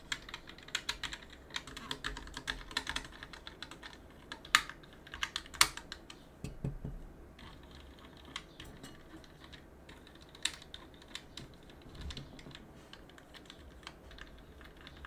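A gloved hand rubs a cotton swab between the plastic keycaps of a plastic and aluminum mechanical keyboard and clicks the keys. Quiet, irregular bright clicks and soft scraping rustles sound over a steady low hum, with a few sharper, louder clacks standing out. Each click dies away almost at once.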